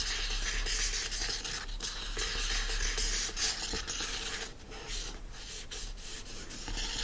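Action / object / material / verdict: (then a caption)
scrape / hardcover book printed cover / cardboard / none. Fingertips and nails rub and scratch the printed cover of a yellow hardcover book lying flat. A steady, bright scratchy hiss rises and falls in quick, loosely rhythmic strokes over a faint low rumble.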